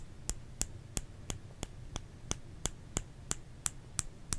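Fingers tap a solid bar of soap, producing 13 short, dry clicks at a steady pace of about three per second. Each tap is crisp and bright, dies away almost instantly, and sits over a faint low hum.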